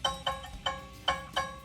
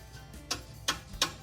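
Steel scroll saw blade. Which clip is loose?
The second.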